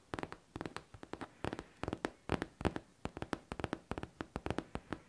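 Long teal nails tap fast on a pink, hollow faux leather backpack. About thirty short, dry taps come in quick clustered bursts with brief gaps, each a dull, hollow knock with almost no ring.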